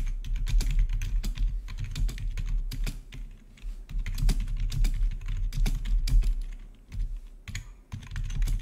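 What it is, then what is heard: Plastic gaming keyboard being typed on. Both hands type rapidly on a full-size black plastic membrane-style gaming keyboard with blue-to-red RGB backlit keys, close up. The result is a dense, continuous stream of soft, low plastic key clacks with brief bright ticks. The typing pauses briefly a few times before resuming.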